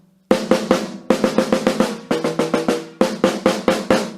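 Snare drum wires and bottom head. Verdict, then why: Tight. A snare drum with its snare wire tension raised slightly is tapped 19 times in quick groups, giving crisp, short hits with a bright snare buzz and a ringing tone around 523 Hz that dies away quickly. The wires now sound properly tensioned, with a nice articulate response.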